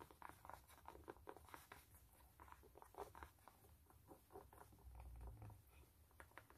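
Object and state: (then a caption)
Canvas sneaker upper scratched with nails. Fingertips and long nails rub and scratch the canvas upper and rubber side stripe of a hollow, empty white canvas sneaker. The result is a quiet, steady patter of short, dry scratches and soft taps over a low, muffled rumble, with each sound dying away almost instantly.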